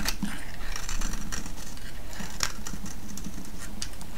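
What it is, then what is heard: Soap bar being shaved. A solid green soap bar held in the hand is shaved with a metal blade, and curls crack off it. The result is a steady run of dry, crisp crackles and scraping ticks over a soft low rumble, with a few sharper, brighter snaps standing out.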